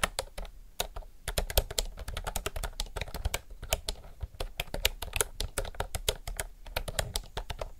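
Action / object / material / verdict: tap / mechanical keyboard with round plastic keycaps / plastic / none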